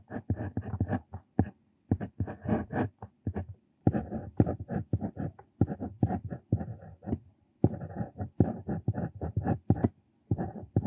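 A metal square dip pen nib (Brause Bandzug), held in the hand, scratches across a flat, thin lined paper notebook page while writing Korean calligraphy in ink. Short, dry scratchy strokes come in quick bursts separated by brief pauses, with most of the energy low and little bright content. The continuous nib-on-paper strokes form a steady, close writing texture.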